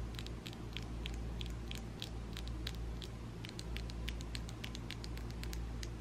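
Long ombre acrylic nails, small and made of solid plastic, are rapidly tapped and clicked against each other by both hands. The result is a quick, irregular patter of short, bright clicks over a steady low hum.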